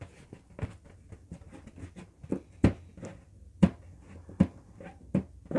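An inflated yellow LED-lit hollow latex balloon, held in both hands, is scratched and tapped with nails and fingertips. Soft, irregular scratchy rustling runs throughout, broken by sharper dull, low taps that thump and die away almost instantly.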